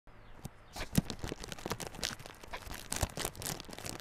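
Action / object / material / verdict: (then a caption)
scrape / small cardboard box sealed in plastic film / cardboard, plastic / none. Fingertips and short nails of both hands scratch and tap the crinkly front face of a small yellow Realme Buds Classic cardboard earphone box, still sealed in clear plastic film and lying on a table. The result is a dense, quiet run of crackly plastic scratching with bright crinkles. Short, soft thumps of taps punctuate it.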